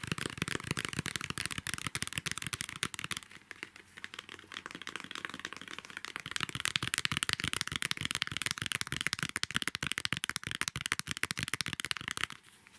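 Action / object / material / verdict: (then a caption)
flick / pad of craft paper / paper / none. A square pad of craft paper has its page edges flicked and riffled with the fingers. This makes a dense, rapid stream of dry, bright paper ticks and crackles that continues for about twelve seconds, with a brief softer stretch early on, before stopping abruptly.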